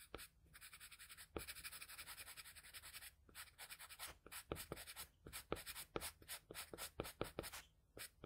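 The graphite tip of a wooden pencil scratches across a flat sheet of drawing paper in fast hatching strokes. A steady, bright, papery scratching hiss runs in quick rhythmic bursts with short pauses, and some strokes land with a sharper tick. The sound is quiet and close overall.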